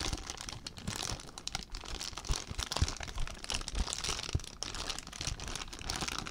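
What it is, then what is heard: Plastic zip bag being crinkled. An empty clear plastic zip bag is squeezed and crinkled with fingertips, producing a steady stream of dense, bright crackling and crinkling with soft low thumps underneath. The crinkles run continuously without pause, with brief sharper crunches standing out here and there.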